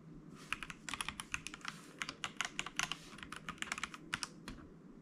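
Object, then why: Mechanical keyboard with plastic keycaps. Fingertips of both hands type on a white mechanical keyboard with plastic keycaps lying on a desk. A quick, uneven run of sharp, bright plastic clicks and clacks plays over a faint background hiss. Each keystroke stops short with almost no ring.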